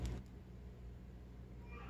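A manchet bread loaf is knocked on after 25 minutes of baking to test whether it is baked through. It gives dull, low thuds rather than a hollow sound, over a steady low hum. The loaf is underbaked and needs to bake longer.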